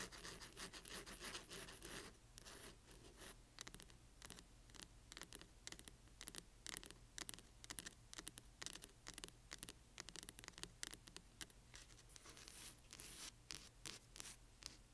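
Long nails scratch the spine of a large hardcover book with a glossy cover, then the hands move to the cover's edges. Rapid, dry, bright scratching strokes come in quick bursts over a faint, steady low hum.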